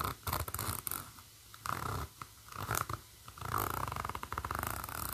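A chunky metal zipper on a black textured faux-leather bag is scratched along its metal teeth by long matte burgundy nails, and the slider is moved. Bursts of dry, ratcheting clicks and rasps come in short runs separated by quiet pauses, followed by a longer continuous stretch of close-up zipper scraping toward the end.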